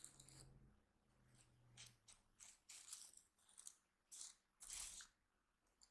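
A flip-sequin unicorn diary held upright is rubbed and scratched across its sequin cover with a flat hand, fingertips and short nails, flipping the sequins. Rapid bright clicking and scratchy bursts come in separate rounds over a faint low hum.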